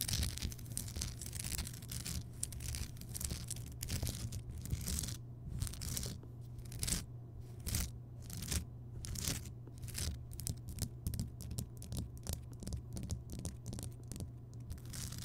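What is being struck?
Rock salt lamp.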